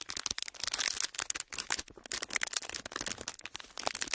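A small, empty, clear ridged plastic packaging sheet is flexed and crinkled with the fingertips. It makes a dense run of sharp, bright crackles and snaps that die away instantly, with almost no low end.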